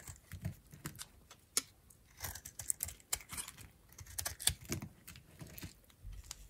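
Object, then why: Bar of soap cut with a knife blade. A peach-pink solid oval bar of dried soap held in the hand is cut and shaved with a metal utility knife blade. The result is a quiet, irregular run of sharp, dry scraping clicks and crisp crunches, bright and brittle with a soft low thud beneath some strokes.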